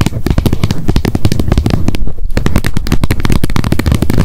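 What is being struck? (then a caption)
Plastic wet wipes pack lid. Long nail tips tap rapidly on the top edge of the plastic lid of a wet wipes pack held upright. A dense, fast stream of short, dull, low-pitched clicks and thumps plays with only a brief pause just after the two-second mark. Each tap dies away almost instantly.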